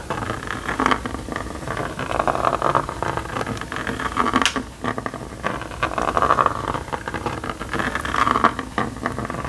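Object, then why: Plastic magnetic drawing board and stylus. A plastic stylus is rubbed in tight circles on the screen of a small red and yellow plastic magnetic drawing toy to fill in a dark spot. The result is a steady, scratchy, hissing rub centred around 1.2 kHz, swelling and fading with each pass of the circular motion, with a brief dip just before the midpoint.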